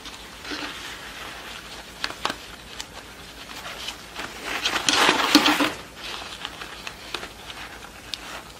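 Long nails tap and scratch a yellow award rosette of pleated satin ribbon around a flat cardboard center disc with a horse print, held up in both hands. Soft, irregular taps and bright, papery scratches brush over the center and pleats, swelling into a louder rustling scrape around the middle before settling back into light tapping.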